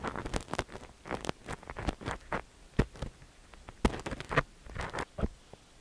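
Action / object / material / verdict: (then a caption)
scrape / silicone dummy-ear microphone scraped by a steel ear pick / silicone / none. A long thin steel ear pick scratches and rubs inside the ear canal of a cream silicone dummy-ear microphone while the other hand steadies the ear. Close, dry crackling scrapes and soft rustling bursts come in a rapid, irregular run, with a few sharper clicks standing out.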